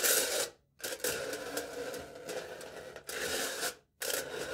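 A knife tip taps rapidly on aluminium foil stretched taut over the top of a hand-held, foil-wrapped cup. The fast taps blur into a bright, crinkly rattle with a papery ring and almost no low end. It comes in three bursts separated by two brief silences.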